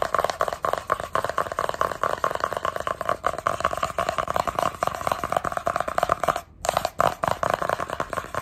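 Long red nails and fingertips rapidly tap and scratch the surface of a small, hollow, black printed cardboard sunglasses box held in both hands. The result is a dense run of quick, dry, hollow clicks and scrapes centred in the midrange, with a brief pause about two-thirds of the way through before the tapping resumes.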